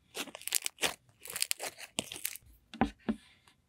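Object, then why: Fluffy slime. Pink fluffy slime is held in one hand and poked with the fingertips of the other. Bursts of soft, bright crackling and squelching pop in quick succession, with a few lower, fuller squishes near the end. Short silent gaps separate them.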